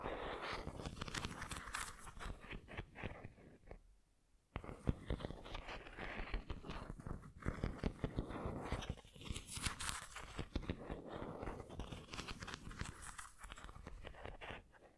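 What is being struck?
Ceramic pineapple figurine.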